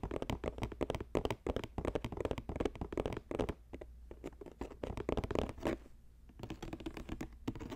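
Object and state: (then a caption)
Woven plastic basket. A medium-size, hollow, green square basket woven from flat plastic strips lies on a purple fur rug and is tapped quickly across its woven top with the fingertips and short nails of both hands. The result is a fast, uneven patter of dry, hollow taps and scratchy clicks that stop almost instantly, with a low-mid body and a faint low hum underneath. The tapping eases into quieter, softer stretches around the middle and again near the sixth second before picking up.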